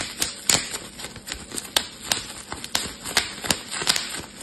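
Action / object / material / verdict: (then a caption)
tap / plastic bubble wrap / plastic / none. A clear, air-filled plastic bubble wrap sheet is held in both hands while fingers pinch and pop its bubbles. About eleven sharp, bright snaps crack out irregularly over a faint crinkling hiss, each dying away almost at once with almost no low end.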